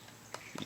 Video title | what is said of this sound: My 2020 Quarantine CO2 Gun Collection | it's definitely not as solid as this area because it's hollow inside